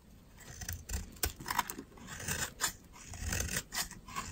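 A metal utility knife blade shaves a solid, dry pink soap bar, and dry crumbly flakes fall away. The clip is a steady run of crisp, bright scraping strokes, each rising and fading quickly, with soft low thuds underneath.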